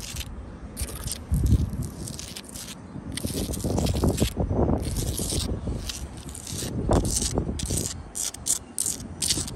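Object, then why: Sandstone wall blocks. Long light-blue acrylic nails scratch downward across solid, rough sandstone wall blocks with mortar joints. The result is a series of gritty, rasping scrapes with bright hissy bursts over a low, rumbling texture.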